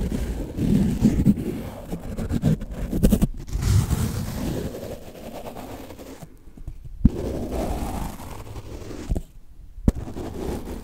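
A large, soft yellow synthetic foam sponge, held upright, is brushed and rubbed with a small foam dauber on a wooden stick handle. The result is a low, muffled scrubbing and rustling with soft pops, broken by a few brief silences and sharp taps.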